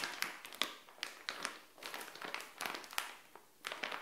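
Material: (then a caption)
Plastic. Long nails tap and scratch a small, flat, printed plastic SHEIN bikini pouch lying on a tile floor. The result is a run of quick, bright, crisp plastic taps mixed with crinkly scratching, each click dying away almost at once, with almost no low end.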